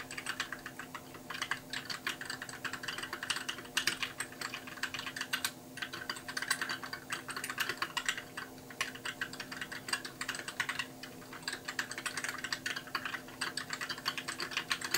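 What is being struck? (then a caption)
Plastic mechanical keyboard. Fingertips type steadily on a compact white mechanical keyboard with plastic keycaps, producing a continuous stream of quick, bright clicks and clacks with short decays. A faint steady hum sits underneath the typing.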